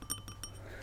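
A metal camera lens cap is tapped and handled, giving a few quick, bright clinking taps with a thin high ring that dies away almost at once. A steady low hum runs underneath at a quiet level.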